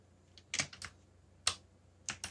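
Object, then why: Mechanical keyboard with plastic keycaps. Fingertips type on a backlit mechanical keyboard with black plastic keycaps. Six sharp, bright keystroke clicks come in uneven bursts, each dying away almost instantly with little low end.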